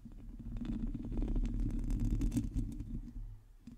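Long teal nails of both hands scratch the hollow metal mesh grille of a black microphone. The result is a dense, close, low rumbling scratch with fast, irregular scraping strokes and faint brighter ticks. It swells in the middle and fades toward the end.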